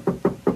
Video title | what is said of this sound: Isuzu Crosswind Restoration | Pag kinatok mo, parang wala halos masilya.